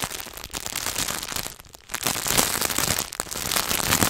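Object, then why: Chocolate bar in paper and foil wrapper. Fingertips and nails rapidly tap and scratch across the paper and foil wrapper of a solid Hershey's milk chocolate bar. The result is a dense, bright, crackling rustle with little low end, easing briefly near the two-second mark before picking back up.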